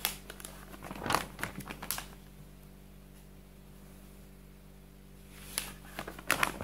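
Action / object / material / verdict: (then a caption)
scrape / paper textbook pages / paper / none. Fingertips slide across and flip single printed pages of a large, open softcover paper textbook resting on a table. Crisp crinkling rubs and page flips sound in quick clusters during the first two seconds and again near the end, with a quiet stretch between them and a faint steady low hum throughout.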